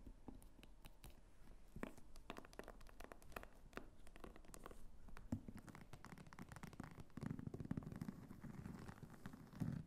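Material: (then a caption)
Faux leather. Long nails scratch and tap across the textured surface of a small, apparently empty red clutch bag made of croc-embossed faux leather, also working its snap flap. The result is a quiet, dense stream of dry, crinkly scratches and short, muffled clicks that are mostly low and soft, with a few sharper taps standing out.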